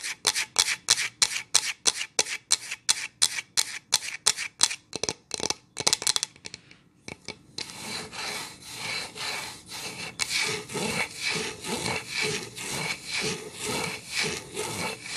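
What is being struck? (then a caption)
Pine wood board. Long nails scratch the bare back of a solid pine plank sign held upright, first in quick, separate bright strokes. After a brief pause, they rub steadily along the wood grain in a continuous, rhythmically swelling high rasp.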